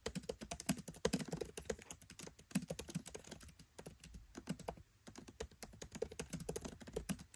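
Fingertips type rapidly on a MacBook Pro 13 keyboard, with black plastic keycaps set in an aluminium body. A dense run of short, dry clicks and taps comes in quick bursts, with a brief lull just before the five-second mark, then continues.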